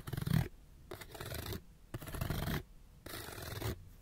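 Fingernails scratch fast across a small, hollow, printed cardboard light bulb package held close, making rough, dry rasping strokes with a hollow, low-heavy body. The scratching comes in four quick bursts separated by short, near-silent pauses.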